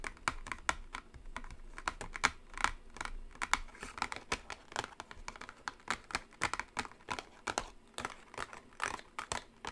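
Long acrylic nails tap quickly and continuously on a small gold-printed cardboard product box resting on a table. The taps are short, dry and clicky, with a bright edge centered around 1.4 kHz and almost no ring, arriving in dense, uneven bursts at a fairly quiet level.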